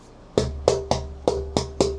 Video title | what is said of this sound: Preguntas & Respuestas con el Luthier Guitarrero Artesano Experto en Guitarras | prendo il legno e faccio questo... quello di cui abbiamo parlato con il suono cristallino